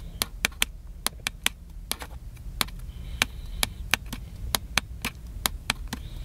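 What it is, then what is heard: Plastic camcorder tapped. Fingertips tap and scratch the side of a small black and silver plastic handheld camcorder held upright, its hollow body giving sharp, bright clicks. Nineteen quick dry taps sound over a low steady rumble, each dying away almost instantly.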